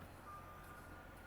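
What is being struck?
Nothing is struck.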